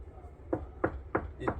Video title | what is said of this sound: 27분 스피커 인클로저 인스톨 노하우 2편, 카오디오 프런트 도어 인클로저 구조와 재료에 따른 소리 특징, Car door speaker enclosure know-how 2 | 어떤 매트는 탁한 소리가 나고 무겁고 맑은 소리가 전혀 없죠